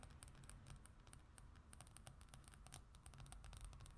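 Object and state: Glossy paper magazine cover.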